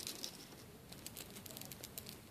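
A replacement solid steel link watch band for an Orient Ray is shaken to compare it with the original bracelet, giving a soft, quick metallic jingling and clicking of the links. It sounds quieter than the original bracelet.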